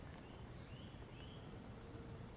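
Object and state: Nothing is struck.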